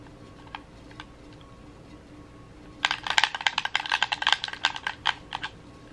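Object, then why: Plastic game controller. Thumbs tap the buttons and sticks of a red hollow plastic gamepad held in both hands. A few soft, isolated clicks come first over a faint steady hum. Then, from about the three-second mark, a fast, uneven flurry of sharp, bright plastic clicks runs to the end.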